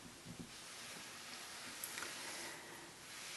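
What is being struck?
Nothing is struck.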